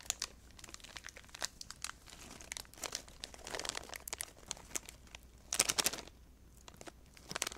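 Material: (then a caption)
Plastic. A small blue crinkly plastic snack wrapper is held in both hands close to the microphone while fingers squeeze, crinkle and rub it. Dense, bright crackles and sharp snaps come in uneven bursts, with a louder flurry near the six-second mark.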